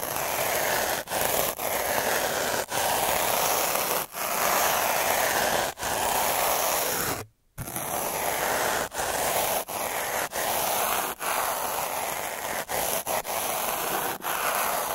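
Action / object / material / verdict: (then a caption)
scrape / metal-needle derma roller on textured paper / paper / none. A metal-needle derma roller is rolled back and forth by one hand across a flat sheet of textured white paper, producing a steady, dense rubbing and scraping of needles on paper with a bright, hissy edge. Brief dips in loudness mark the changes in direction, and a short silent pause falls midway before the rolling resumes.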